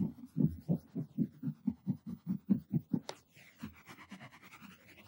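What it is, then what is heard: Cotton terry towel scratched. Short nails and fingertips scratch the looped pile of a purple textured cotton terry towel draped over a padded object, making eleven quick, low, muffled rasping strokes. Pointing fingers then scrape the same towel with softer, brighter, fading strokes.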